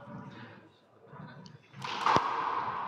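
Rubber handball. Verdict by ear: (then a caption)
Broken. During a handball match, a rubber handball is struck and bounced, giving a dull, dead-sounding thud with a sharp crack and a brief tone around 1.1 kHz over low background noise. The ball is judged broken and replaced with a new one.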